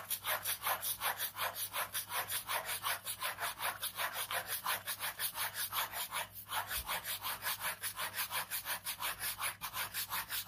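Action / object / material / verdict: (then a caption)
scrape / ballpoint pen on paper sketchbook page / paper / none. A ballpoint pen rapidly scratches repeated strokes across a page of a large white paper sketchbook resting on fabric. The result is a steady, rhythmic, bright scratching hiss at close to three strokes per second, with a brief pause just past the midpoint.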